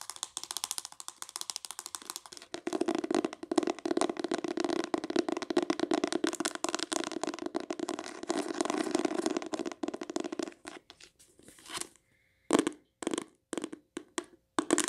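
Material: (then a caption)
Cloth, board. Long nails rapidly tap and scratch the decorated spine of a closed, solid green cloth hardcover book with an oval embossed cover, then move to the front cover. The result is a dense, dry rattle of quick clicks and scrapes with a warm mid-range body and little ring. Near the end it breaks into short, separated bursts with brief pauses between them.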